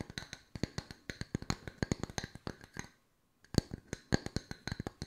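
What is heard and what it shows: Long white nails tap quickly on two solid, round wooden log-slice coasters. About 27 sharp, dry wooden clicks come in an irregular patter, each dying away almost instantly, with a brief silent pause near the middle before the tapping resumes.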